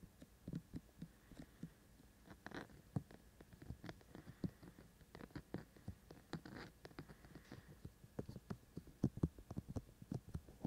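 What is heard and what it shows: Fingertips of both hands tap steadily on the white silicone ears of a binaural microphone. Quiet, dull low thumps come in an uneven patter, each dying away almost at once, with faint soft brushing between them.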